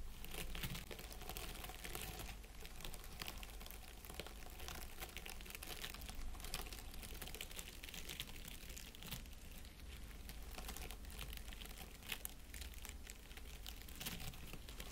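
Fingertips and nails scratch the needles of an artificial plastic pine wreath around the LED candle sitting in its centre, without striking the candle itself. The result is a continuous dense crinkling and rustling with bright, crisp detail and quick scratchy bursts over a low steady hum, all at a quiet, even level.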